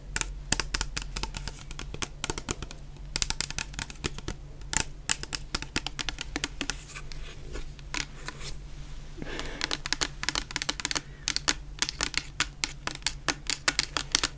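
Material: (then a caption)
Plastic. A medium clear plastic bottle full of orange shower gel is tapped with long painted nails. The result is a rapid, uneven stream of sharp, bright clicks that die away at once, over a faint steady low hum.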